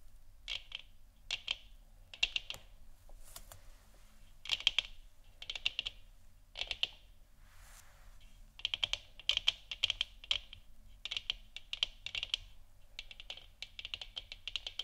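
Long nails on both hands tap and scratch across the sides of a hollow plastic moon lamp sphere. Quick clusters of bright, dry clicks centered around 3 kHz come in bursts and rapid runs, each dying away almost instantly, with brief softer scratchy passages between them. A faint low hum sits underneath throughout.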